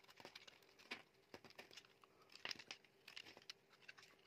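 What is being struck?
Soap bar shaved with a blade.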